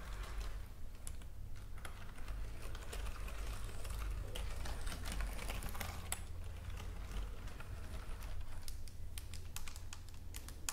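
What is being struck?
Plastic computer keyboard keys.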